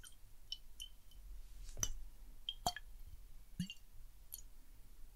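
A small clear glass bottle with a silver cap, partly filled with water, is held in one hand near the microphone while fingertips tap and click on the glass. Soft, scattered clicks and bright glassy ticks come through as the bottle tilts and the water shifts inside, over a quiet low rumble.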